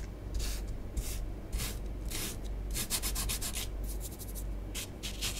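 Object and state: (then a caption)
Bath bomb powder scratched on a tabletop. A long nail tip draws lines and patterns through orange bath bomb powder spread on a tabletop. Soft, scratchy rubbing strokes come in quick bright hissing bursts, some short and rapid, over a steady low rumble.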